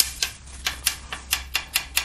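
An FRP/CFRP laminate bonded to a rally car's steel body panel, at the strut tower brace mounting reinforcement, is tapped eight times in a tap-sound inspection. Each tap is a short, bright, high-pitched click that dies away almost at once. The area sounds solid rather than hollow, meaning the laminate is well bonded.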